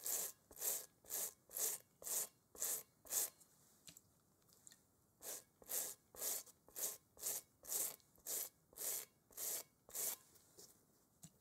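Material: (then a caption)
Rubber. A gloved hand scrubs a large, hollow, textured rubber playground kickball with a toothbrush while holding it over a bowl. Brisk, evenly paced bristle strokes make a dry, bright rasping sound in two runs separated by a short pause. Each stroke ends quickly with almost no low end.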